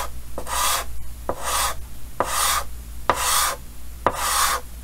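Yellow chalk held in the fingers hatches and scratches across a large, flat, solid, painted chalkboard with a green frame. Six evenly spaced strokes each begin with a sharp tap and turn into a bright, raspy scratch centred near 1 kHz. A steady low hum runs underneath.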